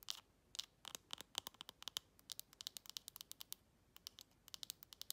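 Long red acrylic nails rapidly tap and scratch the flat top of a shiny silver metal lid with an embossed logo on a textured glass jar held upright. The result is a quiet run of about 33 sharp, dry clicks and scratchy ticks, bright and high with a pitch around 3 kHz and almost no low end. Each one stops instantly with no ring, in quick bursts separated by short pauses.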